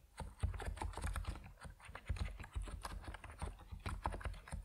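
Fingertips of both hands type on an Epomaker NiZ Plum Atom 68, a 68-key compact mechanical keyboard with white and purple PBT plastic keycaps resting on a wooden desk. The result is a quick, steady stream of short, muted key strokes with a deep, low-heavy thock and very little brightness, each stroke dying away almost instantly.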